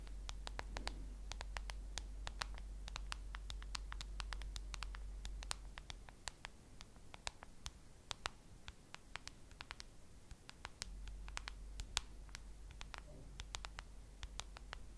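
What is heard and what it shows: Long acrylic nails scratch and tap a handheld smartphone in a solid white plastic case close to the mic. Quick, dry, bright clicks come in an irregular patter over soft scratching. A steady low hum runs underneath and drops out for a few seconds in the middle.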